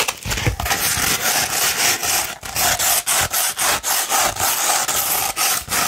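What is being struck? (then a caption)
Coarse sandpaper sheet. Long red nails scratch a coarse 60-grit sandpaper sheet that was rolled and then flattened. The result is a steady run of rough, bright, gritty scraping strokes, each separated by a brief dip.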